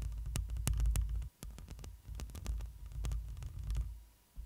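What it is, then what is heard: Metal microphone mesh grille scratched and tapped with nails. Long pointed acrylic nails on one hand scratch and tap across the black metal mesh grille of a hand-sized, hollow studio microphone. A deep, throbbing low rumble around 62 Hz carries the sound, broken by sharp, bright clicks at an irregular, quick pace. The rumble cuts out briefly twice, once just after the first second and again near the end.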